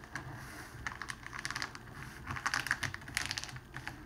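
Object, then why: Clear cellophane wrapping sheet. A rolled strip of clear cellophane wrapping sheet is pressed and rolled under the palms and fingertips, crinkling it. Quick, dry crackles and sharp clicks come in dense clusters, bright and centred near 2 kHz, over a faint low rustle. They grow louder and busier in the second half before easing off.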